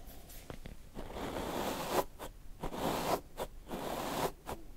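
A black paddle hairbrush with plastic bristles, held in the hand, is pulled through a full, thick facial beard on the jaw. Four repeated strokes make a dry, scratchy rustle centered in the midrange, each swelling and then cutting off into brief, quiet gaps.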